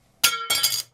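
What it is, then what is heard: Metal credit card dropped, ringing clink. A metal Apple Card is dropped in a drop test comparing it with the American Express Platinum card, striking and bouncing three times with bright, high-pitched metallic clinks that ring briefly. Its ringing sound is judged better than the Platinum card's.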